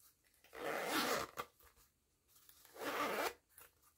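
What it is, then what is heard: Zipper on a woven fabric pouch. Fingertips with long nails zip a yellow nylon zipper open and closed on a small pink and yellow woven jute-look fabric pouch. Two rasping zipper pulls, each about half a second to a second long, sweep from low-mid up into a bright hiss. A short click follows the first pull.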